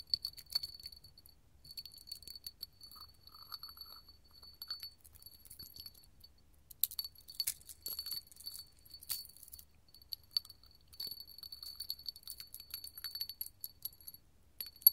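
A small, hollow, empty clear hobnail glass candle holder is held in the hand and tapped and scratched with gold metal filigree finger-jewelry claws. Rapid, quiet clicks and scratches come in uneven bursts with brief pauses. The clicks have a bright, high glassy ring that dies away almost at once.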